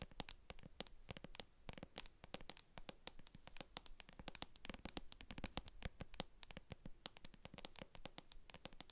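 Long acrylic nails tap and scratch the base of a translucent plastic jar filled with white cream, with a barcode sticker on its bottom. A quiet, rapid stream of sharp, dry clicks and scratchy strokes runs throughout, each tap bright and gone almost instantly.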